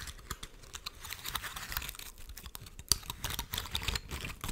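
Long nails scratch and flick the open scales of a large, dry, woody pine cone held close to the microphone. The result is a dense run of bright, dry crackles and clicks with no ring, including one sharper snap near the three-second mark.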